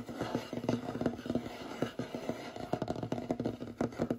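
Short fingernails rapidly tap and scratch a large, solid, light wooden tabletop. The clip is a quick run of dry, dull knocks mixed with soft scraping. The knocks have a woody low-mid tone and die away almost instantly, with little bright content.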